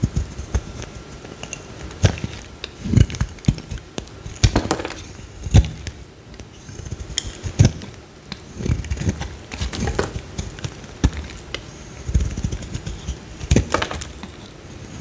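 A solid pale green bar of soap, held in one hand, is shaved with a metal utility-knife blade, and the shavings curl off onto a pile of soap pieces below. Many short, dry scraping and cutting strokes are heard, with soft low thuds and brief crackly, bright edges that die away almost at once.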